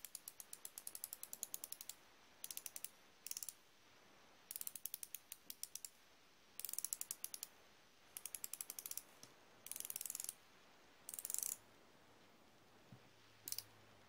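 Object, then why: Steel ratcheting wrench. A chrome steel flexible-head combination ratcheting wrench is held in the hand while the fingertips work the ratchet head back and forth, with other tools lying untouched on the table. Bursts of rapid, crisp, bright pawl clicks, about 55 in all, come in separate runs with short quiet gaps between them. Each click is dry and dies away almost instantly.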